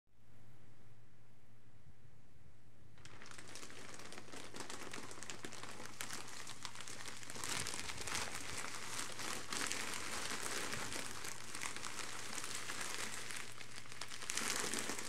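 Leather-gloved hands squeeze and crumple a parcel-sized grey polythene postal mailer bag with a packed item inside, lying on carpet. After about three seconds of near-silence over a low steady hum, dense bright plastic crinkling starts and continues to the end, with louder bursts near 7.5 and 14.5 seconds.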